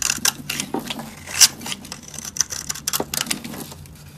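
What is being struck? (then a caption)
Soap bar scraped with a metal blade. A solid, dry pink soap bar held in the hand is scraped and carved with a metal utility blade, with powder and flakes falling away. Short, bright, crisp scraping strokes come in quick irregular bursts, and each dies away almost at once. One sharper rasp stands out near the middle.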